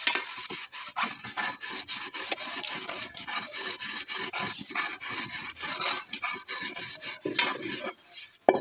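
Hands scrub the inside and outside of a large, hollow, empty aluminium cooking pot, wet and soapy and held tilted on a stone-tiled floor, with a cloth scrubber. Bright, hissy rasping strokes come in quick, uneven bursts with brief gaps, and a sharp knock sounds near the end.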